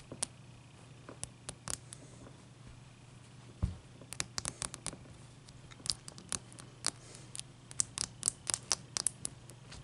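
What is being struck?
Ice cube.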